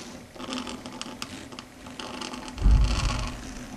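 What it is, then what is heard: Chalkboard tapped with long nails. Long red stiletto nail tips tap rapidly on a flat, solid, dark grey chalkboard surface, making quick, light clicking taps with a bright edge. A low, dull rumble sits underneath and swells into a louder, heavier burst about two-thirds of the way through before settling back.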